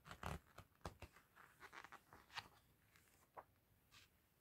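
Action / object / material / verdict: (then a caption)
scrape / softcover book with glossy paper pages / paper / none. A large softcover art book with glossy printed pages lies open on a table while fingertips in a fluffy fingerless glove flip and rub the pages. The result is a series of soft papery swishes and brief rustles, with a few sharper crisp flicks early on, then quieter rubbing toward the end.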